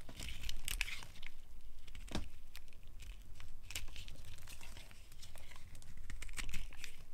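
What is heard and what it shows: A solid pink bar of dry soap is held in the hand while a metal blade scrapes and cuts off chunks and curls, leaving the fingers dusted with soap powder. The clip is a steady run of crisp, crumbly scraping and crunching with bright tearing and crinkling textures over a low rumble.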